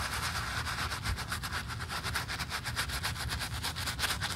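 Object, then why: Leather high-heel shoe scrubbed with a bristle brush. A black leather stiletto pump with a red sole, held in a gloved hand, has its foamy upper scrubbed with a wooden-handled bristle brush. It makes a steady, rhythmic bristly scrubbing with quick strokes, a bright hiss, and a low rumble underneath.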